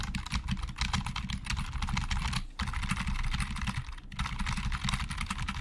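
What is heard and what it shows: Both hands type fast with the fingertips on a hollow black plastic Logitech computer keyboard, producing a dense stream of quick, dry clicks and clacks. The taps carry a low, hollow thump under bright plastic clatter, with two brief pauses before the typing resumes.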